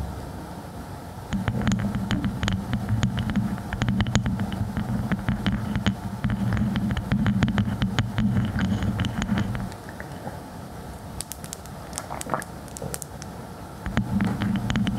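Long fingernails tap and scratch on the round, light wooden or bamboo lid of a clear, empty glass storage jar turned upside down over a furry microphone. Rapid, irregular sharp clicks ring over a booming low hum that swells in from about 1 second to 10 seconds and returns near the end. A quieter middle stretch has sparser, brighter taps.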